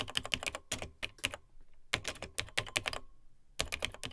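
Fingertips of both hands type on the dark plastic keys of a beige plastic vintage portable laptop, a Tandy TRS-80 Model 100. Quick bursts of bright, dry plastic key clicks come in three runs, separated by short quiet pauses.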